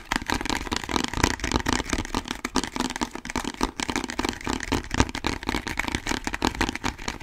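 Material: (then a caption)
Plastic. A medium orange plastic bottle with a label and barcode, hollow, is held close to the microphone and tapped and scratched rapidly with fingertips and nails. The result is a dense, continuous stream of crackly taps and scrapes over a low rumble, with short, dry hits and little ring.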